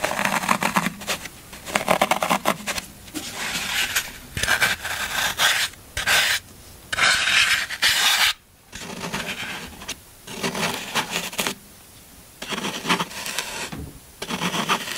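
A large, solid block of green phenolic floral foam rests on a black surface, held by one hand, as fingertips press into it and then a knife blade carves and scratches its top surface. Bursts of bright, dry, crunchy scraping and rasping come in uneven bouts separated by short quiet gaps.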